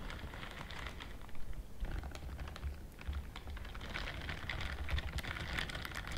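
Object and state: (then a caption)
Silicone scrubbing glove. Long nails scratch along the bristle rows on the fingers of a pink-white silicone dishwashing glove. The result is a fast, steady stream of soft, dry ticks and crackles with a bright edge, over a low, muffled rumble.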